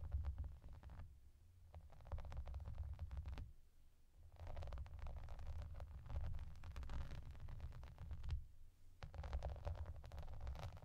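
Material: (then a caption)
Plastic. Long nails scratch and tap across a translucent clear plastic bath mat covered in raised bubbles, while hands rub over its surface. A low, rumbling scrape mixes with dense, crisp crackling ticks, in bursts separated by brief quieter pauses.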